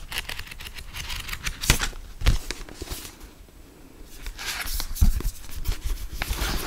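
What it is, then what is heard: Paperback book pages being riffled. A fingertip with a long black nail flips and riffles the paper pages of a medium paperback book. Bright, crisp papery flutters and rustles run through the clip, broken by a few sharper flicks with soft low thumps near 1.7, 2.3 and 5 seconds, and a quieter pause around 3.5 seconds.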